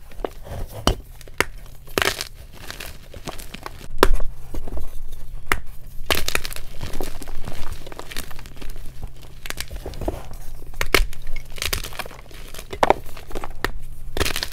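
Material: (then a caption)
Magnesium carbonate. Solid white magnesium carbonate gym chalk blocks and chunks are crushed and crumbled with both hands over a pile of broken chalk in a glass bowl. Dry crunching and crumbling crackles come in irregular bursts, with sharp snaps at moments of harder breaks. A steady low hum sits beneath the crunching throughout.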